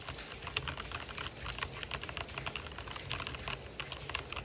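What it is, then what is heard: Plastic mechanical keyboard. Fingertips type fast on an RGB-backlit plastic mechanical keyboard with white and black plastic keycaps, producing a rapid, uneven stream of short, bright clicks and clacks. A faint steady white noise and a low rumble sit underneath the keystrokes throughout.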